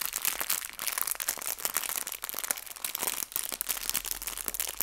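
A small clear plastic bag filled with colorful fabric hair ties is squeezed and crinkled by fingertips with long nails. Dense, bright, crackly crinkling runs almost continuously, with brief dips between squeezes and almost no low end.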